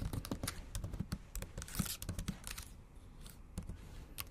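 Long acrylic nail tips tap and type on the backlit black plastic keys of a MacBook Pro laptop keyboard set in a silver aluminum body. Quick, dry clicks with a low thud beneath each stroke and bright, sharp tips, some strokes close together and some spaced out, with a brief scratchy flurry near the middle.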